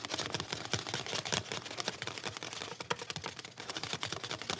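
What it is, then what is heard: Cloth-covered hardcover book. A solid, hand-sized, closed cloth-covered hardcover book with a tan cover and a ribbon bookmark is held in both hands while fingertips tap and scratch its cover, then it is opened at the end. The sound is a fast, steady stream of light, crisp taps and dry scratching, bright and papery with almost no low end. Each tap dies away at once.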